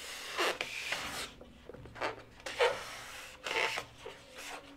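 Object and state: Latex modelling balloon being rubbed.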